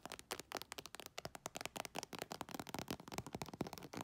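Long nails scratch and tap quickly on an iridescent embossed holographic faux leather makeup bag with a metal zipper, working over the textured surface and near the zipper. The result is a dense run of short, dry clicks and scrapes with bright crackly edges and almost no ring.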